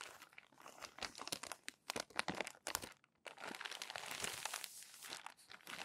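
Hands flip crumpled glossy paper magazine pages and press and rub them smooth with their palms. Dense, bright crinkling and crackling come in quick bursts, break off into a brief near-silence around the middle, then resume as steady rustling and scraping.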